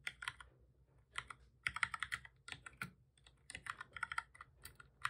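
Both hands type steadily with their fingertips on a full-size black plastic keyboard with a hollow body, resting on a desk. Quick bursts of short, bright clicking key taps come in clusters separated by brief pauses. The taps are dry, with almost no ring and very little low end.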